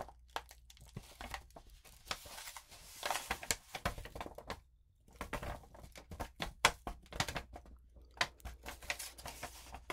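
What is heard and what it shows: A sheet of lined notebook paper coated with rainbow glitter is rubbed flat with the palm and long nails, then lifted and crinkled in both hands. Quiet scratchy rubbing gives way to bright, crackling crinkles and sharp snaps, with a brief near-silent pause around the middle. The crinkling continues in dense, bright bursts until the end.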